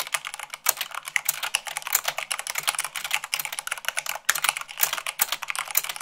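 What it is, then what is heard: Mechanical keyboard. Long pink nails and fingertips type fast, at about 98 words per minute, on a full-size mechanical keyboard with white plastic keycaps on a black frame. A rapid, uneven stream of bright, crisp plastic clacks follows, each dying away at once with no ring or low thump.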